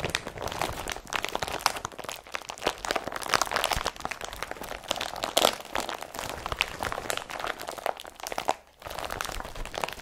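An empty blue IKEA BRATTBY carrier bag made of woven polypropylene plastic, with straps, is squeezed and crumpled in the hand. Dense, bright crinkling and crunching crackles run almost continuously, each sharp rustle dying away at once, with a brief lull just before the crumpling resumes near the end.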